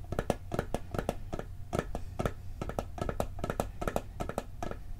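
A round, hollow blue and gold metal cookie tin is tilted in the hands and fast-tapped on its lid with fingertips and nails. The result is a quick, uneven run of dry, short metallic taps with a hollow tone around 560 Hz that dies away almost instantly, over a low steady rumble.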